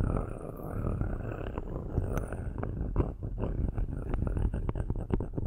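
Metal-tipped sticks scratch the metal grille tops of two black microphones in many quick strokes. A dense, low rasping rumble runs throughout, with short sharp scrapes poking out over a faint high hiss.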